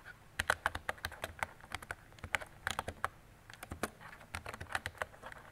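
Fingertips with long decorated nails type on a mint-green retro plastic mechanical keyboard with round plastic keycaps and a hollow body. Quick, sharp clicks and clacks come in an irregular run with a slight pause in the middle. Each keystroke is a crisp, bright tap with a hollow ring around 1.5 kHz that dies away almost instantly.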